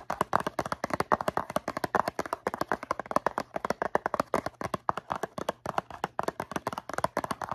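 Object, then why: Cardboard box of cotton swabs. Long nails tap rapidly on the faces of a medium-size, hollow blue cardboard Q-tips box filled with swabs. About fifty quick, dry, hollow taps come in uneven bursts, centered in the midrange with no ring, over a faint low hum.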